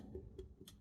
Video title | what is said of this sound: Pottery Tutorial- Trimming a Foot on a Large Bowl | if it sounds Hollow you know that you're probably getting uh close to the thinness that you would want